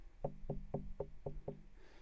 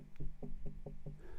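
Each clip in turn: First: hollow, detached ironstone plate. Second: solid attached rock.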